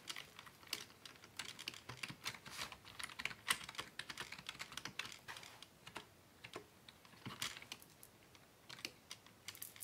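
Both hands type steadily with their fingertips on a hollow black plastic Dell desktop keyboard resting on a wooden desk. The result is a quick, continuous run of short, bright clicking key taps with almost no low end.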